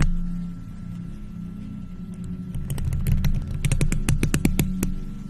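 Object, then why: Metal mesh microphone grille. Long nails in faux leather gloves quickly scratch and tap a round, hollow silver metal mesh microphone grille. Sharp bright clicks and scrapes speed up over a heavy low rumble and a faint steady tone, each tap dying away almost at once.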